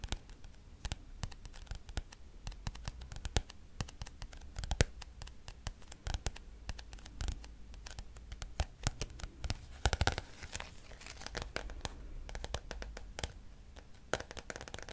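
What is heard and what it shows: Fingernails scratch and tap across the glossy turquoise card cover of a thick, solid paperback textbook. Many quick, dry clicks and scratches are heard, each dying away almost instantly, over a soft low rumble.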